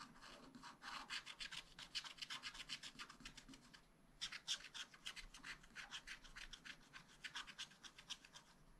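A wooden stylus scratches across the lower part of a black-coated sheet on a spiral-bound scratch-art pad. Quick, dry, bright scratching strokes come in a rapid, uneven rhythm, with a short pause near the middle before the strokes resume.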